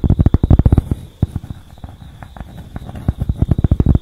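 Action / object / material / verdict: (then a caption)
tap / cork pad / cork / none. Long acrylic nails tap and scratch a flat, solid, palm-sized tan cork pad held in both hands. Quick bursts of dull, low, muffled taps open and close the clip, with quieter soft scratching in between. Each tap dies away almost instantly.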